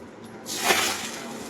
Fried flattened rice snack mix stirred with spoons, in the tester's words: किती छान असा कुरकुरीत आवाज येतोय